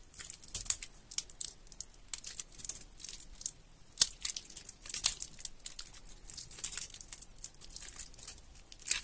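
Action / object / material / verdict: scrape / bar of soap squeezed and rubbed by fingers / soap / none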